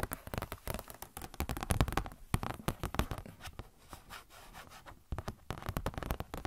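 A thin, glossy paper Blizzard Shop catalog booklet, held up in both hands, is tapped and scratched with long nails. Quick, dry taps and rustling scratches come in dense bursts with a thumpy low end, ease into a softer scratchy stretch in the middle, then pick up again with sharp taps near the end.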